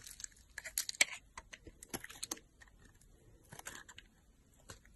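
A solid pink soap bar, held in the hand, is carved into with a utility knife blade, cutting and scraping. The sound is a quiet series of short, crisp, bright scratches and crackles with almost no low end. Each cut stops dead with no ring.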